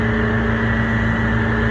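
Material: Nothing is struck.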